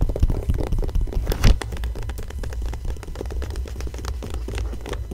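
A fingertip and long nails trace and scratch across the same Cartier bracelet ad spread of an open magazine with thin, glossy pages lying flat. Dense, soft scratching and brushing strokes sit over a heavy low rumble, with quick faint ticks flicking into the high range. A slightly louder swipe comes near the start before it settles into a steady, muffled rasp.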